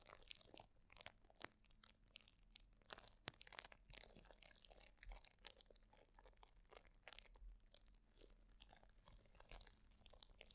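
A plastic bubble wrap sheet is held around a microphone with both hands while nails scratch it and fingers crinkle the bubbles. The result is close, dense crunching and crackling with sharp, bright transients over a faint low hum.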